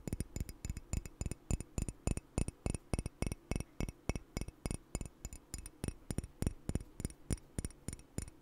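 A red speckled ceramic coffee mug with a logo, hollow and apparently empty, is held in one hand beside a microphone and tapped and scratched with the fingertips and nails of the other hand. A quick, somewhat uneven series of short clinking taps comes about three times a second, each with a dull low knock and bright, high glassy tones that die away almost at once. Faint scratching fills the gaps between taps.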